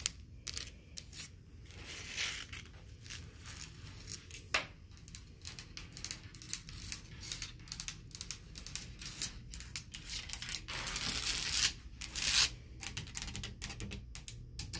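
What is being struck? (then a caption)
Textured painted drywall wall. Long blue acrylic nails tap and scratch a solid, beige, textured painted drywall wall near a corner and a light switch, leaving the nearby switch plate untouched. Dense, irregular, quiet clicks and dry scratching sounds are heard, bright and crisp with very short decay and a few louder raspy scratch bursts.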